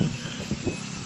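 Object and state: Nothing is struck.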